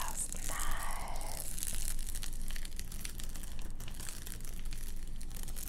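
Long nails scratch and tap the quilted foil of a large metallized bubble-foil windshield car sunshade with a fabric border, lying flat on a table. A steady, bright crinkling rustle with soft tapping and a faint low hum underneath continues throughout.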